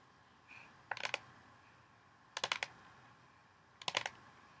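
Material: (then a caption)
Plastic. Long painted fingernails tap along the rim and sides of a large, hollow orange plastic mixing bowl with only a little water in the bottom. Three quick bursts of light, bright, clicky taps come about a second and a half apart. Each tap is sharp and dies away almost at once over a quiet background.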